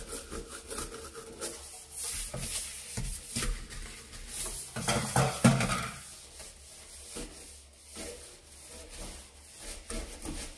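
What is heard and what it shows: A red-handled bristle brush, held in a yellow rubber glove, scrubs inside the basin and along the edge of a large, hollow stainless steel kitchen sink covered in soap suds. Rapid, uneven back-and-forth scrubbing strokes produce a bright, bristly hiss over a low, hollow metallic hum. The scrubbing grows loudest midway through before settling back to steady rubbing.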